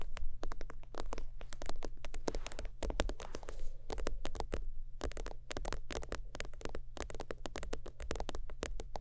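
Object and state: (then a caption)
Faux-leather zip wallet. Long almond teal acrylic nails rapidly tap and scratch the surface of a long rectangular holographic, iridescent synthetic-leather zip wallet lying flat on a leopard-print fabric. The result is a dense run of short, crisp clicks and scraping brushes that die away almost instantly, over a steady low hum.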